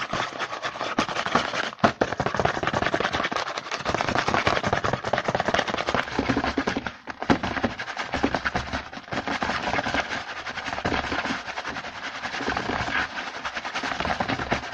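Fingertips from both hands tap and scratch fast and hard on a small printed cardboard Hanuta snack box, first held and then lying on a white table. The result is a dense, continuous run of dry, papery taps and scrapes, mostly in the mids with a bright hiss on top, broken by a short lull around seven seconds.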